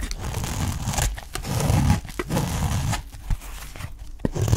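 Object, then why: Olive oil soap bar shaved with a knife blade. A utility knife blade shaves thin slices off the edge of a solid, dry green olive oil soap bar held in the hand, making the bar visibly smaller. Low, crumbly scraping and tearing sounds are broken up by short, sharp cutting snaps.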